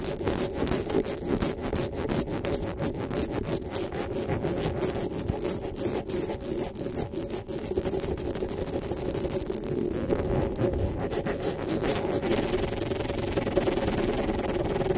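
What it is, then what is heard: Metal mesh microphone grille being scratched. Fingertips and nails rub and scratch the metal mesh grille of a black desktop microphone. The result is a steady, dense scraping texture with a low-mid tonal hum and frequent brief bright crackles, holding at an even level throughout.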